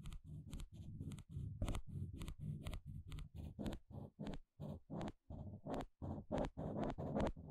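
A pale green plastic pick scratches across the fine teeth of a small blue plastic comb. It makes a rapid series of short, raspy ratcheting strokes, each a dense burst of clicks. The strokes have a low, grainy body and faint bright edges, with brief silent gaps between some of them.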